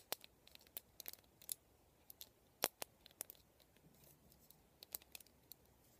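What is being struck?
Plastic cushion hairbrush.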